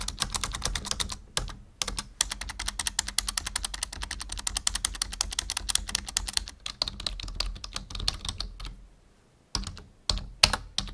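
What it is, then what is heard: Plastic computer keyboard. Fingertips, mostly of one hand, tap on the keys of a black full-size plastic membrane keyboard resting on a wooden desk. A fast, steady stream of short, bright, dry key clicks runs with brief pauses, over a faint steady low hum. After a near-silent gap, a few louder, sharper taps close the clip.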